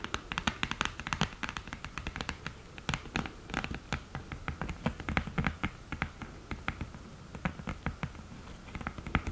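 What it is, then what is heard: Cardboard eyeshadow palette with mirror, tapped with nails. Long painted nails tap rapidly and irregularly on the mirror and the lid of an open, flat cream cardboard eyeshadow palette. The result is a quiet, steady stream of short, dry clicks with no ring, each giving a bright tick over a soft, low, hollow thud.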